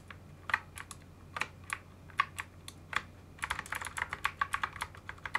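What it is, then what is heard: Mechanical keyboard with plastic keycaps. Gloved fingertips press and type on a full-size mechanical keyboard with many switches exposed and plastic keycaps fitted on part of it, with a second hand joining at the end. About two dozen short, sharp, bright clacks ring out, spaced apart at first and then coming faster in a dense burst of typing toward the end, each dying away almost instantly over a faint low hum.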